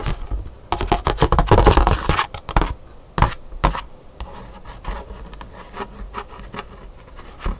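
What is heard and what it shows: Long pink nails scratch and tap across the surface of a thin black scratch-art paper card held on a table. A dense, loud burst of rapid scratching in the first couple of seconds gives way to a few sharp taps, then quieter, lighter scratches and taps continue to the end. The card gives short, dry, papery clicks with a bright crackle on the strongest strokes.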